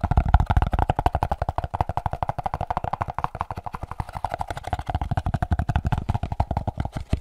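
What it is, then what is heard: Molded pulp packaging tray. A white, hand-sized, hollow and empty molded paper-pulp packaging tray is held and tapped and scratched with the fingertips. It makes a fast, uneven stream of short, dull, hollow thumps with a deep low body and a muffled papery midrange. There is no bright edge, and each tap dies away almost instantly.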